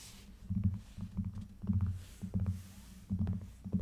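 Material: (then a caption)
Faux leather. A closed rose-gold faux leather (synthetic leather) folio cover on an iPad lies flat and is rubbed and scratched with fingertips and long nails. Soft, low, muffled bursts of rubbing swell and fade, dotted with quick, brief scratching ticks.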